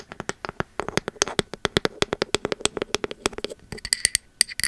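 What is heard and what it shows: Long metal nail caps tap quickly on the engraved bamboo lid and body of a pink ceramic candle vessel, around thirty short, dry clicks with almost no ring. Over the last second the taps turn sharper and brighter, with a high, glassy edge.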